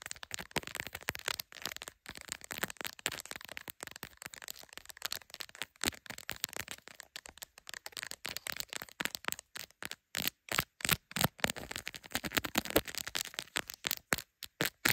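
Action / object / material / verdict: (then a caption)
tap / smartphone in a clear plastic case with glass camera lenses / plastic / none. Long acrylic nails rapidly tap and scratch the clear plastic case and glass camera lenses of a hand-sized, solid smartphone held in a plastic tripod clamp. Dense, crisp clicks and scratchy rasps sit mostly in the bright upper range with almost no low end, each tap dying away almost instantly. The early flurry of scratching gives way to sharper, more evenly spaced taps toward the end.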